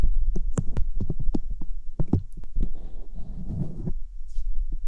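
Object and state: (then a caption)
Silicone ear of a binaural microphone. Fingertips with long nails rub and press over the white silicone ear replicas and their rims on a binaural microphone. Close, muffled low thumps and soft bumps come in quick succession, then turn into a denser scratchy rumbling rub before a few last light taps. A steady low hum sits underneath throughout.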